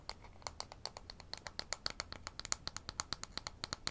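A thin, solid, light-wood toy ruler with a printed scale is held in both hands and rapidly tapped and scratched with fingernails. About 29 quick, dry, bright clicks sound in a steady, slightly uneven stream, each dying away almost instantly, with faint scratching between them and very little low end.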